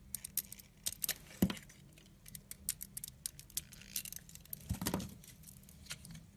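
A utility blade scrapes and shaves the surface of a solid green oval soap bar held in the hand. The result is a quick run of short, dry, bright scratches and crisp flicks over a faint low hum. Two stronger, rougher scrapes stand out, one near the start and one toward the end.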